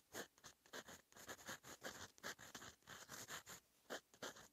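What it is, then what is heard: Fountain pen writing on lined paper. A metal fountain pen nib, held in fingers, scratches across a flat sheet of lined writing paper in continuous handwriting strokes. The result is a quiet run of short, dry, bright scratches in quick bursts of varying length, with brief pauses between words.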